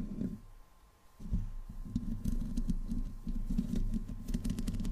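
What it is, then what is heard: Metal mesh microphone grille being scratched. Long fingernails on both hands scratch the hollow metal mesh head of a black microphone. The result is a dense, irregular, low-heavy scraping rumble with brief bright ticks. It starts quietly and grows steadily louder after about a second.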